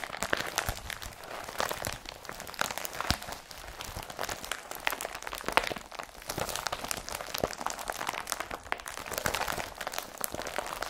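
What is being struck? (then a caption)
Woven polypropylene carrier bag. A blue woven polypropylene IKEA BRATTBY carrier bag is bunched up and crumpled and rubbed with both hands. It gives a steady run of dense, papery crinkles and sharp little crackles, bright and hissy with almost no low end. There are no pauses for the whole stretch.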